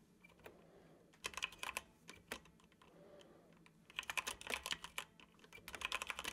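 Fingertips tap the keys of a dark plastic computer keyboard in steady typing. Bright, crisp clicks come in short bursts, with quieter pauses between them. The clacking grows denser toward the end.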